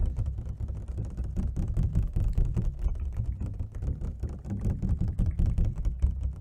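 An empty, hollow, hand-span-sized clear plastic takeout clamshell with ridged edges is held in both hands and tapped quickly with long fingernails and fingertips on the lid and ridged sides. The result is a dense, continuous patter of short, dull, hollow clicks with a low, thumpy body and very little ring.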